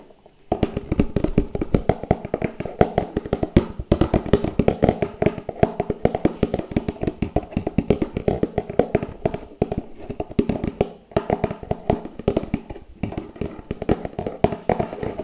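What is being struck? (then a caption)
Cardboard box. Fingertips tap rapidly and continuously on the top of a medium, hollow white cardboard product box lying on its side, while the other hand steadies it. Each tap is a short, dry, hollow knock with a mid-low tone and almost no ring, with a couple of brief pauses in the flurry.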